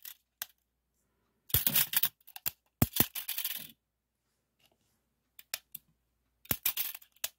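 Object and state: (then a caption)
Plastic tape measure with metal tape. A small hand-held red plastic tape measure with a yellow metal tape is held in the fingers while the tape is pulled out and slides back into the hollow case. Short bursts of sharp, bright clicks and rattling, scraping slides come in clusters separated by quiet pauses.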